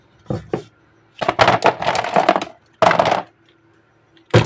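Miniature jungle animal figures are tapped for ASMR. Two light taps are followed by a quick flurry of dry, clicky taps with a hollow tone around 700 Hz. A short burst and a final tap follow, each dying away almost at once.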